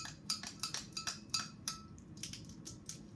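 A small clear glass spice jar with a metal screw lid, partly filled with dried green herbs, is held in the hands and tapped and handled by very long acrylic nails over a stovetop. Quick, bright clicks and clinks come in an uneven run, each ringing briefly at a high pitch over a low, steady background hum.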